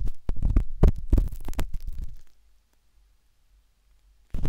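A metal-tipped dot stick with a wooden handle scratches inside the soft, hollow canal of a pinkish-white silicone binaural microphone ear. This produces a burst of deep, muffled thumps and scrapes that are mostly low rumble. The sound falls silent after about two seconds, then returns briefly at the end.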